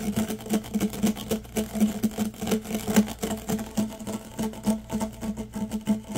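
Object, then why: Corrugated plastic tube. Fingers rub and scratch along the ribs of a yellow, hollow, corrugated plastic tube held upright. The result is a rapid run of dry, ridged scratching clicks over a steady low tone around 210 Hz, with short, quickly damped bursts rising and falling in loudness throughout.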